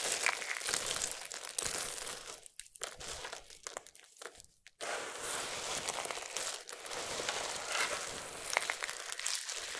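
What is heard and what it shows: Fingertips with long nails pick at, rub and crumble a pile of small, solid, dry multicolored soap strips on the surface. The result is a dense, bright crinkling and crunching with almost no low end, thinning into sparse crackles before a brief near-silence, then resuming as a steady crumble to the end.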